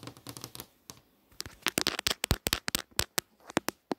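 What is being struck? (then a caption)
Glass touchscreen display. Long nails tap rapidly on the movie tiles of a flat glass touchscreen display. The result is a run of sharp, bright clicks with almost no ring: softer and scattered at first, then a short pause, then louder and denser taps that thin out toward the end.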